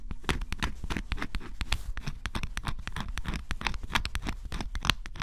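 A flat metal scraper scratches the black scratch-off coating from a flat cardboard jigsaw puzzle piece, leaving flakes behind. Rapid, dense scraping strokes follow one another closely, each a short, dry, bright rasp over a low, close-up rumble, with no ring after each stroke.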